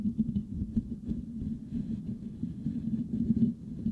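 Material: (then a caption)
Metal mesh. Fingernails of both hands scratch the metal mesh grille of a Blue Yeti microphone. The result is a dense, low, muffled rumbling scrape, centered around 200 Hz with almost nothing bright, that swells and dips in uneven bursts throughout.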